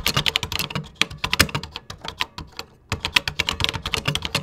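Fingertips type continuously on a vintage plastic computer keyboard with cream plastic keycaps. Rapid, bright clicks and clacks come in quick bursts with a short pause midway. Each keystroke is sharp and dies away almost at once, with a light low thump under the click.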